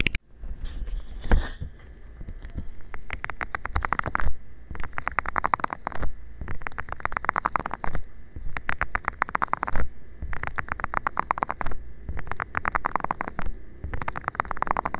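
A round, green, palm-sized soft plastic bristle scrubber pad with nubs is rubbed and tapped with fingertips. Bursts of rapid, scratchy clicking and rustling recur in waves with short pauses between them, over a low, thumpy rumble. The close, dry sound stops at once after each stroke.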